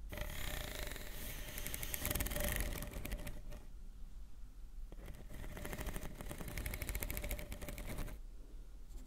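Long painted nails on both hands scratch and tap along the ridges of a hollow, blue corrugated plastic pop tube toy about forearm length, lying on a dark fabric surface between two microphones. Two bursts of rapid, bright, ratcheting clicks are heard, separated by a short quieter pause, over a steady low hum.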